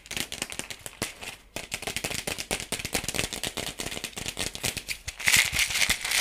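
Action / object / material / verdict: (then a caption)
tap / plastic toy ball / plastic / none. Fingertips and nails tap and scratch the surface of a hollow, palm-sized yellow plastic toy ball with pink spots. The result is a fast, irregular stream of dry, crisp clicks and scrapes, mostly bright and high-pitched, that sounds like a rattle. The sound gets louder and brighter in the last second.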